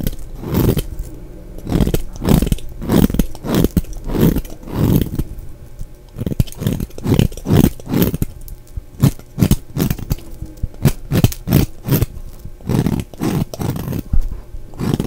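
A utility knife blade scrapes a solid, dry black bar of soap with white stripes held in the hand, carving off crumbly shavings. Short, rough scraping strokes repeat steadily throughout, each a brief, dry, crunchy burst heavy in the low range with a faint high edge.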